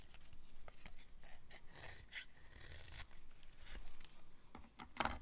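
A metal blade cuts and scrapes shavings from the end and face of a solid, hand-sized pink bar of dry soap. Quiet, dry, crisp scraping strokes and short bright cutting sounds follow one another over a low background rumble. A sharper, louder cut lands near the end.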